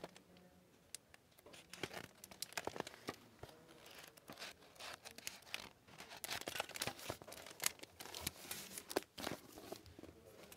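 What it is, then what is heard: Hardcover book, paper pages and plastic dust jacket handled. Paper pages of an "Operation Snow" hardcover book are flipped and turned by hand, then the book is closed on its plastic-covered dust jacket. Dense, quiet rustling and crinkling fills the clip, with many short, bright, dry snaps and little low end.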